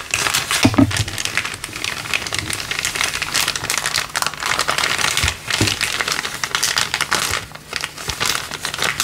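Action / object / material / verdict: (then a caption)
shake / thin clear plastic bag / plastic film / none. A hand grips a thin, empty, clear LDPE plastic bag resting on a wooden table and crinkles it between fingers and thumb. The result is a steady stream of dense, bright, crackling rustles with a few soft low thumps, continuing throughout with only brief dips in loudness.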